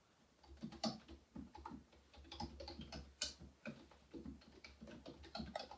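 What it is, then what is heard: Plastic computer keyboard typing. Fingertips type rapidly on a black plastic computer keyboard at a desk. Around fourteen short, clicky key taps come in an uneven rhythm, with bright tops on a faint, steady low hum.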